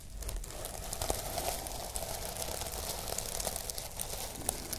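Long nails scratch and brush across the sequins of a sequin fabric pouch held up in the air. The result is a steady, dense crinkling rustle with bright, sharp little clicks scattered through it, over a soft low rumble.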